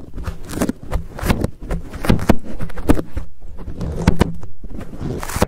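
Fingers squeeze and scratch a fuzzy black foam windscreen on a Blue Yeti microphone. The result is a dense run of close, dry crackles and rustles with a heavy low-end rumble and quick bright flecks of scratching.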